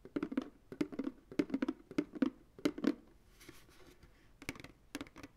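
Fingertips and nails tap the base and sides of a medium, hollow, empty white plastic ice cream pail held sideways. The taps come as irregular clusters of short, dull, hollow knocks with a low-mid body and almost no ring. A quieter rustling stretch in the middle separates the first bursts from the final few taps.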